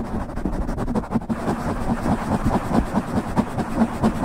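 Fingernails on both hands scratch the top and sides of a soft, hollow black foam windscreen covering a silver microphone. The result is a steady stream of muffled, low scratching and rubbing that swells in quick, loosely rhythmic bursts, with a dull hum underneath and almost nothing bright or high.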